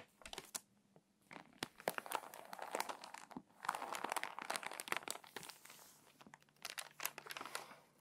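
An open glossy paper magazine lies flat while long-nailed fingertips rub and scratch its crinkly pages, turn a page, and crease the spine. Dense bursts of sharp crinkling and crackling with bright, scratchy detail come in clusters separated by brief quiet pauses.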